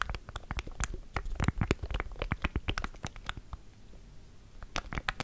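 Fingertips press and tap the rubbery keys of a small black plastic Elgato Stream Deck, a hollow device held in both hands above a Zoom H6 recorder, while the hands squeeze its casing. A rapid, uneven run of short, dry clicks and taps is heard, with thumpy low body and bright ticks that stop instantly. The tapping thins to soft rustling around the fourth second before a final burst of clicks.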